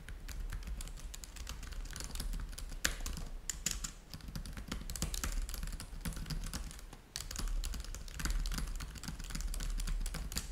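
Fingertips of both hands type rapidly on a black laptop keyboard with plastic chiclet keys resting on a white table. The result is a steady stream of light, bright clicks over a constant low hum, with a brief lull around seven seconds before the typing picks back up.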